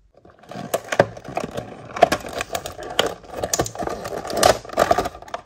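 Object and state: Cardboard toy box.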